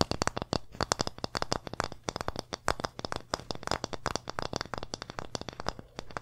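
Long nails and fingertips rapidly tap and scratch a small, flat, solid wooden pumpkin-shaped board held close to the mic. The result is a dense, uneven stream of short, dry clicks and scrapes that die away almost instantly, with a light low thump under bright tapping edges.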